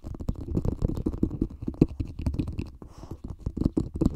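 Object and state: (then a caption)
Plastic cup tapped over mic. A small, hollow, empty green plastic cup sits upside down over a microphone and is tapped and scratched with fingertips and nails. The result is a dense run of quick, muffled low thumps mixed with soft scratchy rustling, heavy in the low end with almost no bright high tones. The short hits keep coming steadily and unevenly throughout.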